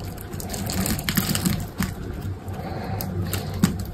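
A hand holds a solid, dry green soap bar scored in a grid pattern while an orange-handled utility knife blade cuts and scrapes small cubes off it. The result is a steady, low, rough scraping with crisp, dry clicks and brief bright crackles as the pieces break away.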